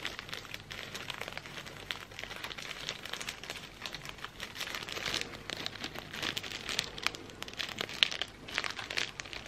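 A thin, clear plastic sleeve printed with the Stamford logo, wrapped around a bundle of incense sticks, is crinkled and rubbed between the fingers. The result is a steady, dense stream of bright crackling and crinkling with little low end and occasional sharper snaps.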